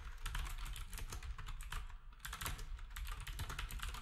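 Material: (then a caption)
Plastic. Fingertips of both hands type quickly on a black retro typewriter-style keyboard with round plastic keycaps. Its rapid clacks have a deep, thumpy low end and brief bright edges, with a short pause near the middle before the typing resumes.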